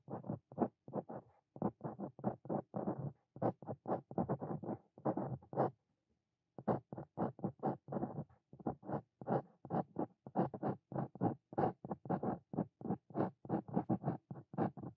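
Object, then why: Steel pen nib on a paper notebook page. A steel Brause dip pen nib, held in the fingers, scratches continuously across a flat sheet of white paper in an open notebook while writing Korean text. Dense runs of short, dry scratchy strokes come in quick bursts, with a brief pause near the middle before the steady writing resumes.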